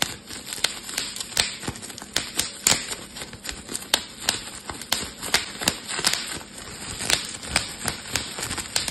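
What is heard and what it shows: A clear plastic bubble wrap sheet is crumpled and twisted while its bubbles are popped with fingertips and thumbs. Sharp, bright snaps ring out in an irregular series over a steady bed of crackly crinkling. The sound is thin and high, with almost no low end.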